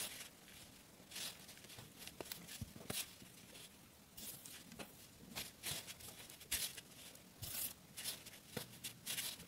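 Bare fingers squeeze, crumble and rub a large, crumbly heap of floury raw wheat dough, dusty with loose flour, on a dark metal plate, breaking it apart. The result is quiet, dry, bright crackling and crumbling, with a string of soft tearing bursts and rustles over a low hiss, and the dough may also brush against the plate.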